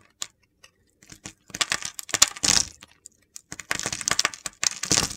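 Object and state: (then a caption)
Bar of soap being carved. A utility knife blade slices curls from the scored surface of an oval, solid purple soap bar with a red coating. Short, crisp, bright crunching and scraping bursts start sparse, then build into longer, denser gritty cuts with almost no low end.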